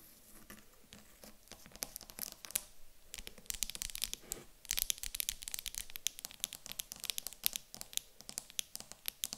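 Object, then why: Small wooden block. Long acrylic nails tap and scratch the top of a small, light-coloured solid wooden cube standing on a table. Quick, dry, bright clicks and scratchy rasps come in dense, uneven bursts with no ring after each tap. The sound stays fairly quiet, with brief busier flurries throughout.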